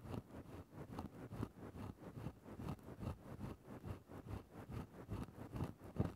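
A thin bamboo stick scratches into a grey synthetic-fur microphone windscreen in quick, loosely rhythmic strokes, roughly two per second. Each stroke gives a soft, muffled, low rustling scrape with little brightness, and the short bursts fade almost at once.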